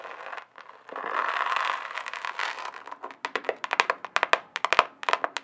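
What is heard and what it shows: A flat rectangular notebook or folder with a chunky glitter surface is held up in one hand and scratched and tapped with the long acrylic nails of the other hand. Over the first three seconds, a grainy, bright scratching hiss swells and fades, centred around 1 kHz. It then gives way to a quick run of sharp, dry clicking taps with almost no ring.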